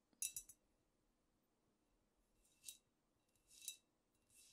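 Long nails tap and scratch a squat amber glass cognac bottle with a paper label, held in both hands. A quick run of three bright, clicky taps opens the clip, followed by slower, spaced scratching strokes that swell and fade. Each sound is high and crisp with almost no ring, set against quiet, near-silent background.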